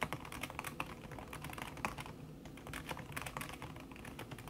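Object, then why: Aluminium keyboard with silicone key cover. Fast typing with fingertips and long red-painted nails on a thin, backlit aluminium keyboard whose plastic keys sit under a red silicone skin. It makes a quick, steady stream of soft, short tapping clicks with bright edges and very little ring, over a low background rumble.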